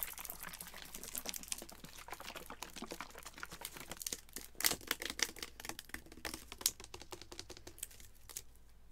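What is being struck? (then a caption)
Plastic drink bottle with liquid. Fingernails tap quickly on a Vitaminwater-style plastic bottle of about 20 oz, hollow with yellow-green liquid inside, held in one hand, striking both the bottle and its label. The result is a rapid, steady stream of short, dry, bright clicks with very little ring, a few landing noticeably louder than the rest.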